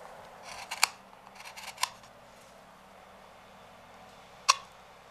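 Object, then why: Walnut wood bowl. A wooden-handled knife scrapes the rim of a large, hollow, empty walnut bowl resting on a stopped lathe. Soft, bright rasping strokes each end in a sharp, dry tick, and three distinct ticks stand out over a quiet background.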